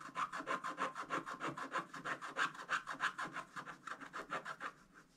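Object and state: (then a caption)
Scratch-art card scraped with a wooden stylus. A flat, thin scratch-art page with a black coating over gold foil, lying on a table, is scratched continuously with a pointed wooden stylus held in the fingers. About 27 quick, steady rasping strokes repeat at roughly three per second, each a dry scratch centered around 1.5 kHz with bright hiss above. The strokes grow softer toward the end.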